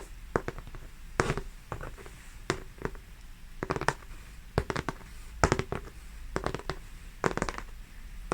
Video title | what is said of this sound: Canvas Oil Painting Tapping ASMR & Soft Whispering 🌼 | you can hear the texture of the oil paint